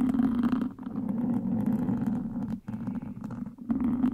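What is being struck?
Foam microphone windscreen scratched with wooden sticks.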